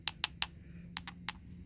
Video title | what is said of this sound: 855 - 2nd Attempt Flintknapping Stockton Corner-Notch Point 1/3 | i don't hear any ringing